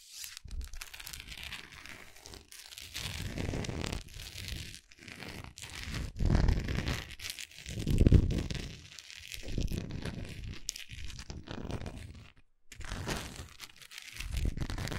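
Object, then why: Wax pillar candle scratched with long nails. Long acrylic nails tap and scratch along the textured side of a large, solid orange wax pillar candle held in the hand. The sound is a dense run of dry, crinkly scratching and soft tapping, with low thumps swelling around the middle and near the end, and a brief pause just before the last few seconds.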